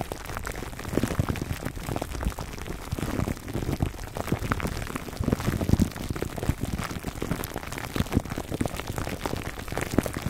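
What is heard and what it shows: Fingertips and short nails of both hands scratch and rub clear plastic cling wrap stretched tightly over a dome-shaped black foam microphone windscreen, recorded close-up. The result is a dense, continuous crinkling and crackling with many quick, sharp pops over a deep, muffled rumble. It sounds steady and rain-like for the whole clip, with no pauses.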